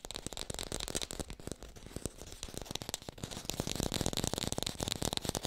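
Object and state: Fake green apple.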